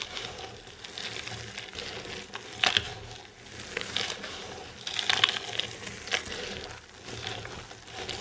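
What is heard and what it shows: Hands with long painted nails grab handfuls of loose dry green and yellow soap shavings and crush them. The result is a steady, bright, crisp crunching and crinkling with sharp little crackles, rising in louder bursts around the middle and fading between grabs.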